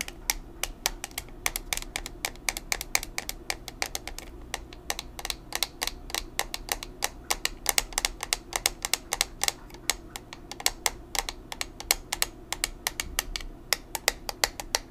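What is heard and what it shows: Long nails tap quickly and steadily on a small, square, black plastic pressed-powder compact, a hollow case holding powder. Each tap is a sharp, bright, dry click with almost no ring, and the clicks come in a dense, continuous stream over a faint low background hum.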